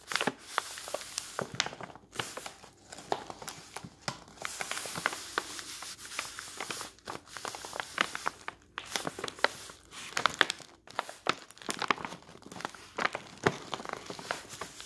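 Fingertips squeeze and crumple the side of a large cream-coloured paper bag, apparently filled, standing on a wooden table. Dense, bright paper crinkling and crackling comes in bursts with brief pauses, and each crackle stops almost at once with no ring.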